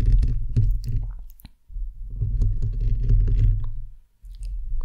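Fingernails and fingertips of both hands scratch and tap the hollow, perforated metal mesh grille of a bare microphone head. The result is a close, deep, rumbling scrape broken by scattered bright ticks and clicks, in two long bursts separated by brief near-silent gaps.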